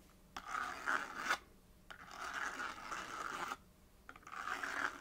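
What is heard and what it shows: Long nails scratch quickly over the face of a small, hollow, printed paperboard box held on a knit surface, tracing letters. Three rapid, dry scratching passes are separated by short quiet gaps, with a papery rasp centered in the midrange around 1.5 kHz and a brighter edge on top.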